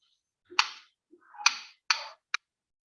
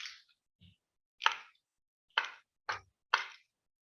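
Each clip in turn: First: Four bright, clinking strikes of keys on a piece of metal, each with a quick jangling tail. Second: Four sharp, dry clacks of keys on wood, each dying almost at once with no ring.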